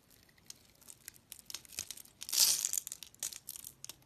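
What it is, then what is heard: Soap bar carved with a blade. A metal utility knife blade scrapes and carves the face of a solid pink bar of soap with a stamped logo and a scored grid, held in the hand. Dry, bright crackling scrapes and short ticks come in quick succession, building to a louder, denser burst of crumbly carving near the middle before thinning back into lighter scratches.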